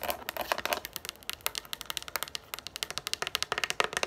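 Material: Plastic.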